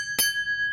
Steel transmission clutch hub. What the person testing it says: hear that ring it's a hard one it's a really good one